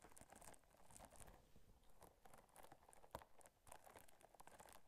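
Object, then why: Textured silicone scrubber. Long nails scratch and tap the bumpy surface of a small pink textured silicone/rubber scrubber held up beside the microphone. The sound is a quiet, dense run of crinkly, crackling scrapes with bright, short flicks, broken by one sharper tap near the three-second mark. Each sound stops almost at once, with no ring.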